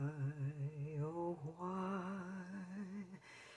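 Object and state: Nothing is struck.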